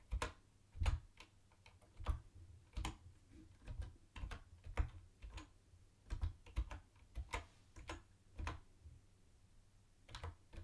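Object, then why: Plastic keyboard keys. Fingertips tap the space bar of a mint-green plastic retro keyboard with round white plastic keycaps, then both hands type. Short, dry plastic clicks with a dull low thump come in irregular bursts. Each keystroke stops almost instantly over a quiet background.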